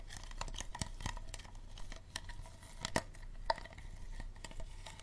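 Fingernails tap and scratch a small, empty, hollow clear plastic Dasani bottle with a green cap, working over its star-shaped base and labeled side. Quick, irregular ticks and clicks with a hollow plastic ring near 900 Hz mix with a dry, bright scratching rustle over a low background rumble. Two sharper, louder taps stand out midway, and every tap dies away almost instantly.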